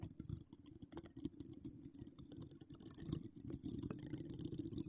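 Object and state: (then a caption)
Metal mesh microphone grille being scratched. Long decorated acrylic nails scratch across a hollow metal mesh microphone grille, producing a dense, continuous rasping texture. Close, boomy low thumps sit under bright, crackly scraping. The scratching grows slightly louder and busier toward the end.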